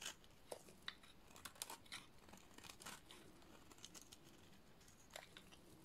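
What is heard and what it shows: A hand-sized, solid yellow bar of dry, painted soap, held in hands with dark nails, is scraped with a metal blade into crumbly shavings. The result is quiet, dry, bright scraping and crisp crunching, with short sharp crackles scattered over a soft hiss and no ring.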